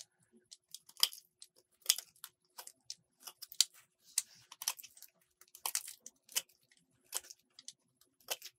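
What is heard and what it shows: A metal utility blade shaves a solid purple soap bar, scraping and peeling off strips. The result is a quiet, irregular series of short, crisp, bright scraping and crackling bursts with almost no low end, each dying away almost instantly.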